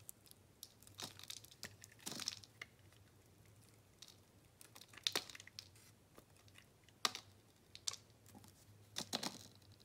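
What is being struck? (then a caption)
Bar of soap cut with a metal blade. A metal blade shaves long slices off a solid white bar of soap with an orange base, held in hand. Quiet, crisp, bright scraping and crunching bursts come at irregular intervals over a faint steady low hum. Each burst cuts off sharply with almost no ring.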